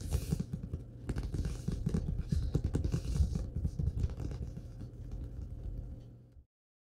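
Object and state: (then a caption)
Paperback book with card cover. Fingertips and short nails tap and scratch the glossy card front cover of a thick, closed Star Wars paperback, a solid paper block resting on a wooden table. A rapid, uneven run of low, dull taps mixes with soft scratchy rustle and dies away quickly after each touch. The sound ends abruptly just before the clip finishes.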